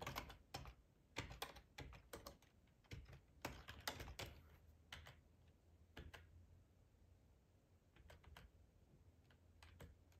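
Fingertips type on the keys of a black plastic ergonomic split keyboard with a hollow housing, resting on a cloth tablecloth. Quick, irregular bursts of short clicky taps with a bright, hollow clatter come in flurries, then thin out into sparse keystrokes over a faint steady low hum.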